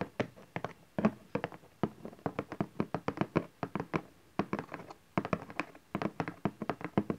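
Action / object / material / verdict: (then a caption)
tap / cardboard box / cardboard / none. Fingertips and nails tap and scratch the bottom face of a cardboard camcorder box, with folded flaps, resting on satin fabric. Quick, dry taps with a soft, hollow low thump come in rapid bursts separated by brief pauses, each tap dying away almost instantly.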